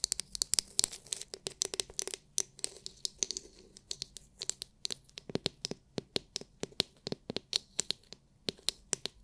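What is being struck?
Hard plastic massage brush.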